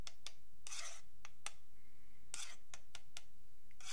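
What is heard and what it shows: A thin metal pick or needle scratches along the top edge of a long, flat, solid wooden yardstick while fingertips steady the ruler. Quiet, bright, rasping strokes come in quick short flicks mixed with a few longer drawn-out scrapes over a low, soft background rumble.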